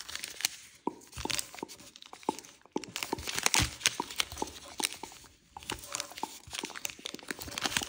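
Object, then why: Thin paper sheet on a wooden table. A thin red-yellow kaleidoscope-pattern origami paper sheet on a wooden table is creased with fingertips and nails and rubbed along the folds. Bright, crisp crinkling and papery rustling come through, punctuated by many short, sharp snaps and ticks as the folds are pressed. The sound stays light and high, with almost no low-end weight.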